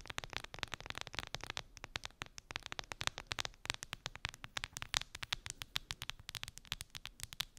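Long acrylic nails tap quickly on a clear plastic phone case with colorful gummy bears embedded in it, lying on fur. The result is a steady stream of short, crisp, bright clicks with almost no ring, in uneven bursts with brief pauses.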